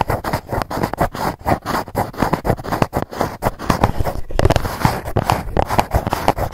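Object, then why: Cardboard box lid. Long nails scratch and tap the lid of a dark GUCCI cardboard gift box. The result is a rapid, uneven run of dry scraping strokes and soft, dull taps, weighted toward the low end and dying away almost instantly with no ring.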